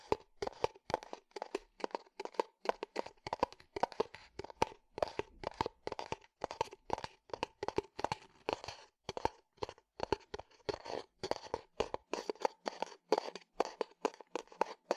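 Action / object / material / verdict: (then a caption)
tap / leather cup sleeve / leather / none. Fingernails tap and scratch a hollow tan leather cup sleeve in a quick, steady stream of crisp, dry clicks. The clicks have a woody mid-range knock with a bright crackle on top, and each dies away almost instantly. Softer scratchy crinkling fills the gaps between taps.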